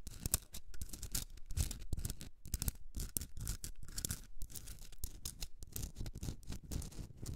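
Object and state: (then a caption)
Himalayan salt rock candle holder. Long red nails scratch a hand-sized pink Himalayan rock salt candle holder, a block with a hollowed top for a candle. Rapid, dense scratching strokes come in quick bursts, with a heavy low rumble under each and bright, hissy grit on top, each stroke stopping short with no ring.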